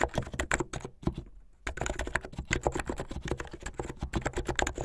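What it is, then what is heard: Plastic mechanical keyboard. Fast typing with the fingertips of both hands on a plastic mechanical keyboard with white and blue plastic keycaps and LED underglow. A dense run of short, dry clacks and low thocks with bright ticks on top stops briefly just after the first second, then resumes at the same quick pace to the end.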